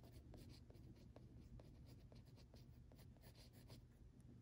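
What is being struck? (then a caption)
Pencil on textured paper sheet. An orange mechanical pencil makes short scratchy strokes and tapping stipples on a flat sheet of textured drawing paper. Brief, dry, bright ticks and scratches sit over a steady, quiet low rumble.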